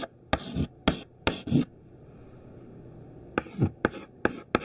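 A thin stick of white classroom chalk, held in the fingertips, writes words on a large flat black chalkboard. Short, bright, dry scratching strokes come in quick clusters, separated by a quiet pause of about two seconds in the middle.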